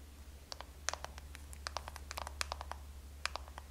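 Long nails tap and scratch a small black soft-touch plastic NARS blush compact, held closed in the hands, hollow with blush inside. A quick, irregular series of short, dry clicks and light scratches sounds over a steady low hum, each tap dying out almost instantly.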